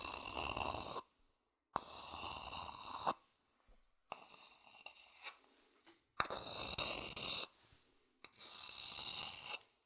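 A medium-sized, empty, hollow wooden bowl with dark, polished grain is held in one hand and scratched with a thin wooden stick. About five bursts of dry, rasping scratching are heard, separated by short silences, with a bright, airy hiss and a resonant ring near 1.2 kHz. A few sharp clicks mark where strokes start and stop.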